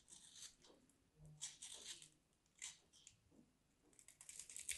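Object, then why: Bar of soap scraped with a small blade. A small craft knife blade carves and scrapes a solid, dry, hand-sized pink bar of soap, shaving off powdery flakes. The sound is a series of quiet, dry, crisp scraping and crunching bursts, bright and hissy with almost no low end.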